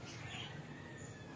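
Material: Nothing is struck.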